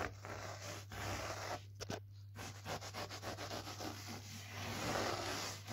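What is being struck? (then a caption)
Low-pile fitted carpet. Fingers and the palm of one hand rub and scratch back and forth over low-pile grey fitted carpet on the floor, a flat solid surface. The result is fast, irregular, dry broadband rustling and scratching strokes with a brief pause near the two-second mark. A steady low hum runs underneath.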